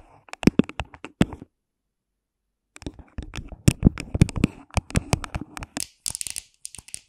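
Long pink nails tap and scratch the sides of an empty, hollow, thin clear plastic cup placed over the microphone, using both hands. Sharp, close, hollow taps with a low boomy body come in quick bursts, broken by a silent pause of over a second. Brighter, hissy scratching strokes follow near the end.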